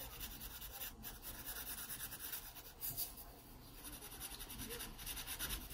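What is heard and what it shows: A graphite pencil makes shading strokes on the paper page of an open sketchbook. It produces a soft, continuous scratchy rasp with bright hiss, rising and falling slightly with each stroke over a faint low rumble.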